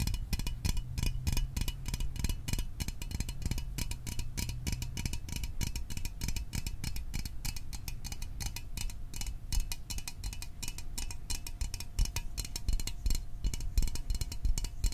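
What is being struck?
Small metal soda can.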